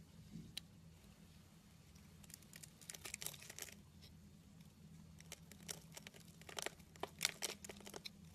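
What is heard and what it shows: A solid pink oval soap bar is held in the hand while a snap-off metal blade scrapes and carves curly shavings from it. The clip carries quiet, bright, crisp scraping and crinkly shaving sounds in uneven bursts that grow busier toward the end, over a faint low steady hum.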